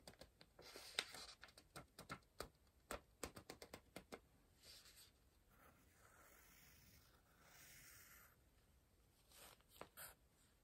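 A pencil works on a page of an open softcover paper word-search book, staying on the same spread throughout. A quick run of short, crisp, bright strokes fills the first four seconds. Softer, steady scratching follows, then a few more quiet strokes near the end, all very quiet and dry.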